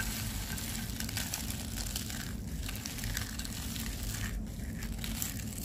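A pile of dry, brittle white and purple soap curls in a white tray is crushed and squeezed between bare fingers and palms, breaking into crunchy flakes. A dense, continuous crunching and crackling runs at a steady level throughout, with bright crisp snaps over a low, rumbling body.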